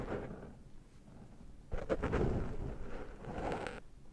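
Fingertips and nails scratch and pick at the black foam windscreen on a Zoom microphone to remove cat hair. The result is a close, muffled, low rustling and scraping that grows louder and denser from about 1.7 seconds to near 3.8 seconds, then drops back to a soft rustle.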